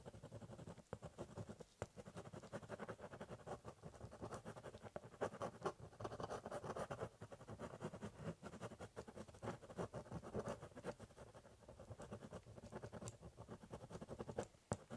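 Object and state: Pen scratching on a cardboard box.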